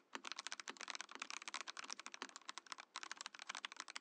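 A compact Mojo68 mechanical keyboard with a translucent plastic case and plastic keycaps is typed on with the fingertips. Quick, bright, clacky keystrokes come in a steady run with very short decay, broken by a brief pause near the three-second mark before the typing resumes.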